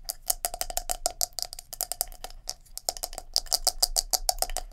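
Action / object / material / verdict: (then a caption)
tap / plastic scalp massager brush with silicone bristles / plastic / none. A palm-sized black plastic scalp massager brush with silicone bristles is handled, turned over to its bristle side, and tapped and scratched with long nails. Fast, uneven dry clicks and scrapes follow one another, each bright and very short with a faint steady tone near 730 Hz. Between taps a soft scratchy rustle continues.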